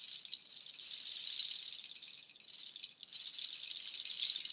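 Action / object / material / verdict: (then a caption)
shake / strung nut shell shaker / nut shell / none. A nut shell waterfall shaker, made of dark hollow nut shells strung on white cord, is held high and shaken so the shells rattle. It produces a dense, bright, dry clatter of quick clicks concentrated in the high range, with no low end. The rattling briefly quiets just before the three-second mark, then returns at full intensity.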